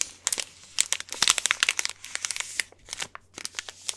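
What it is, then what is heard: Plastic snack wrapper. A small, individually wrapped Hanuta bar in a crinkly plastic or foil wrapper is crinkled and scratched with the fingers. The result is a dense run of sharp, bright crackles and crinkles with very short decays, alternating louder bursts with softer rustling.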